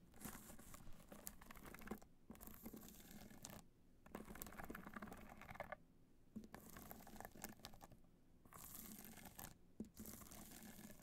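Long nails scratch and tap across a black hard-shell clutch covered in multicolor rhinestones, hollow and resting on white fur. Dense bursts of crisp, gritty scratching with quick ticking taps alternate with brief near-silent pauses, over a faint low hum.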